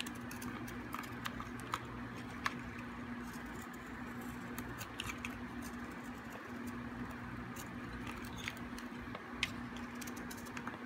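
A metal blade shaves the edges of a solid, hard, dry green soap bar, curling off flakes. Crisp, bright scraping clicks and scratches sound over a steady low hum, with a few sharper snaps standing out.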